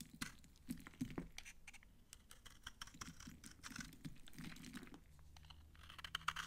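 A red-handled utility knife blade scrapes and carves shavings off a palm-sized solid bar of old, dry green soap held in one hand. Quick, crunchy, dry scraping and cracking bursts come in a dense, irregular run, with short sharp snaps.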